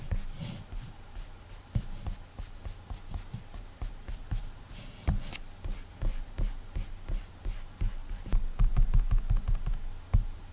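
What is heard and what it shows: A single fingertip strokes and taps on the flat glass touchscreen of an iPad while painting an eye and picking a colour. Soft, dull, irregular taps and brief rubbing swipes sit mostly in the low range, each dying away almost at once, with a few louder thumps toward the end.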